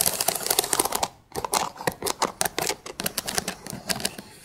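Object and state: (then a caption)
Stack of thin wooden sticks. Long pink acrylic nail tips tap and scratch along the ridged edges of a row of thin, light, unfinished wooden sticks or slats stacked edge to edge. It makes quick, dry, bright clicks and scratchy ticks with almost no ring. A dense burst is followed by a brief pause and then a steadier run of separate taps.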